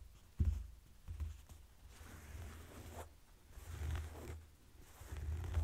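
Folded blue denim jeans lying on a table are slowly scratched and rubbed with fingertips and short nails. The clip has soft, dull scratching and brushing strokes over a low rumble, with a few quick louder scrapes between quieter stretches of rubbing.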